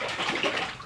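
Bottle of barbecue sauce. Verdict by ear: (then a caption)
Thin. A bottle of store-bought Blues Hog Tennessee Red barbecue sauce is shaken, and the sauce sloshes with a bright, watery swish that fades out over about a second. The sauce is very thin, far thinner than a homemade clone.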